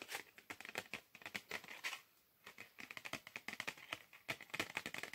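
A small, flat, red-and-black printed cardboard Perugina 85% chocolate bar box, likely holding a chocolate bar, is held in one hand and tapped and scratched with fingertips and nails. It makes a quick, irregular series of dry, bright clicks and scratchy taps with almost no low end, pausing briefly just after the two-second mark before continuing. Each tap dies away almost instantly.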